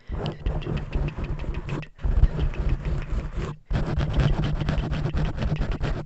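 Long painted fingernails on both hands scratch and tap a large, soft, porous black foam windscreen covering a microphone. The result is a dense, muffled, low rumbling crackle with quick scuffing taps, heard in three bursts separated by two brief silences.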